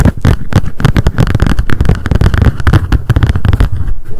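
A small pink m.memo spiral-bound paper notebook with a card cover, held in the hands, is tapped rapidly with long decorated acrylic nails. The result is a dense, continuous run of short, dull, low-heavy taps that overlap too closely to count.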